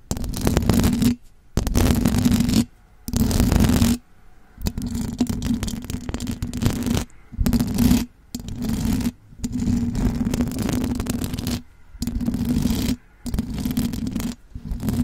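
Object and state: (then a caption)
Metal mesh microphone grille being scratched. Long blue acrylic nails scratch and tap all over the silver perforated metal mesh grille of a large condenser microphone with a hollow head. The result is close, dense scraping bursts with a steady low hum around 230 Hz, broken up by short silent gaps.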